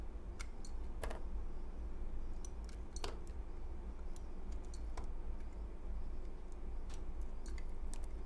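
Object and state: Bar of soap being shaved with a knife.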